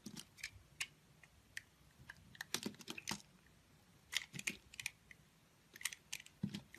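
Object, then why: Bar of soap scraped by a utility knife blade. A solid multicolored bar of soap, held in the hand, has its edges shaved and scraped with a snap-off utility knife blade. Short, crisp scraping clicks and crunchy shaves come in irregular bursts, bright and dry with a faint low thump under some strokes. Each cut stops almost instantly against a quiet background.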